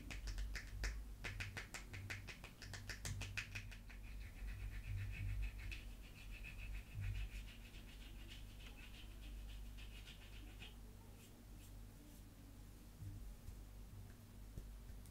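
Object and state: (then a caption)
Bar of soap being scratched and tapped. A small, solid, unwrapped oval bar of green soap is held in the palm and scratched and rubbed with the fingertips and nails of the other hand. Quick, crisp clicking scratches come first, then a steady, hissy rubbing that goes on for several seconds. It ends in quieter, scattered scratches over a low background hum.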